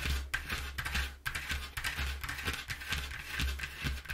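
Long nails scratch and tap the panel of a flattened brown corrugated cardboard box with a printed recycling symbol. Irregular dry taps and bright, papery scratching come at an uneven pace over a steady low hum.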